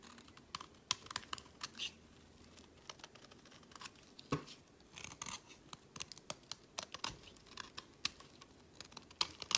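A solid cream bar of soap, held in the fingers, is shaved with a metal blade, its shavings piling up on a mat. The result is a quiet series of crisp, bright scraping crackles and sharp little snaps, each dying away almost at once, with very little low end.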